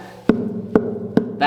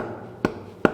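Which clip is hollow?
The first.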